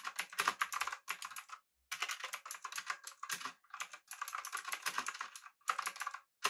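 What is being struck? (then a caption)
Mechanical keyboard with metal body and plastic keycaps. Fingertips of both hands type rapidly on a full-size backlit typewriter-style mechanical keyboard with blue switches, an aluminum body and round plastic keycaps. Dense bursts of bright, sharp clicks clatter in quick runs, broken by brief pauses. Each keystroke dies away almost instantly, with no low-end thump beneath.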